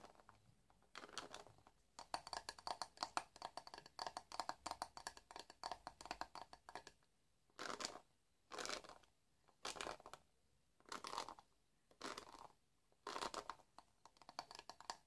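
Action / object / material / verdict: scrape / plastic paddle hairbrush bristles / plastic / none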